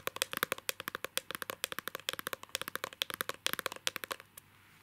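A small, rigid, hollow clear plastic case holding an illustrated card of a girl is held in both hands and tapped quickly with fingernails and fingertips. About 35 sharp, bright, clicky taps come in an uneven rapid patter, each dying away almost instantly with almost no low end. The tapping stops just after four seconds, leaving a faint hiss.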